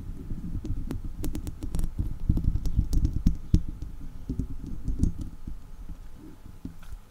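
Two long acrylic nails scratch and tap the top of a hollow woven metal mesh microphone grille, with hands held close around it. The result is a dense, irregular patter of deep, muffled thumps and rubbing, broken by brief bright clicks that fade quickly.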